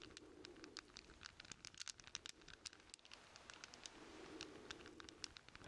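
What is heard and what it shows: A hand-sized bundle of solid steel chain links, cupped in both hands, is rubbed, jingled and shaken together with the fingertips. Many short, bright metallic clinks tick over a soft rustling bed with a low murmur, each clink dying away almost instantly.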